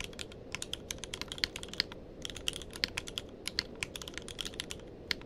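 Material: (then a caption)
Plastic. Fingertips of both hands type continuously on a tenkeyless mechanical keyboard with plastic keycaps. The result is a rapid, steady stream of short, bright clicks and clacks with almost no ring, over a faint low hiss.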